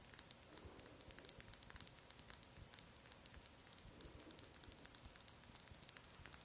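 Long acrylic nails tap and click on a small amber glass oil bottle with a white dropper cap, held close to the microphone. Quick, crisp glassy ticks patter in an irregular, steady stream over a soft low hiss, each with a faint high, bright ring that dies away almost instantly. The overall level stays quiet and intimate.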